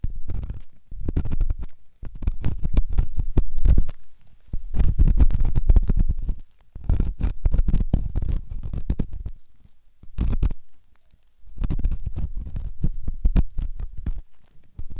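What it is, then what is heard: Silicone ear of binaural microphone. A metal ear pick scrapes inside the ear canal of a white solid silicone ear on a binaural microphone. The result is bursts of deep, muffled rumbling and scratching with rapid crackling ticks, separated by brief quiet pauses.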